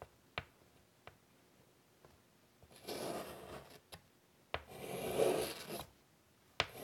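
A hand draws with chalk on a large, flat black chalkboard in a light wood frame lying on a table. Short, sharp chalk taps are broken up by two longer, gritty scratching strokes across the board surface. The scratches have a bright, dry texture with a stronger midrange body.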